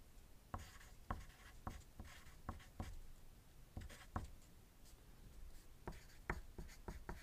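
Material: Paper.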